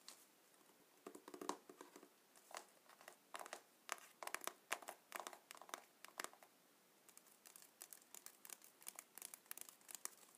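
Fingertips of both hands tap and scratch the sides of a small, closed, printed cardboard box full of paintballs, held on a glass table. Quiet, dry, papery taps and crinkly scratches come in irregular bursts, bright with no low end, each dying away almost instantly.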